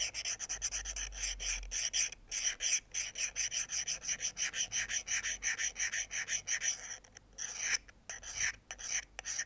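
A thin metal pick scratches and scrapes along the solid steel blade of a small folding pocket knife held over a wooden board. Quick, dense strokes give a bright, high-pitched rasp, broken by a few short pauses and thinning out toward the end.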